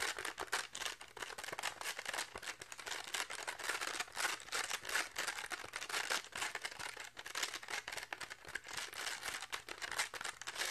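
Fingertips and nails quickly scratch and tap the purple and orange velcro and felt face of a toy plastic catch paddle with a pink plastic rim, held face-on in both hands. The result is a dense, continuous stream of fast, dry, crinkly scratches and taps, bright and hissy with almost no low end.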